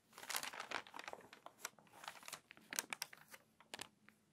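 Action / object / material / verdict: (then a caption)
scrape / paper magazine pages / paper / none. Long nails scratch across the stiff, crinkly pages of a water-damaged paper magazine, and a page is turned. A quick run of dry, bright crackles and rasps with no low end, each sharp tick dying away almost at once.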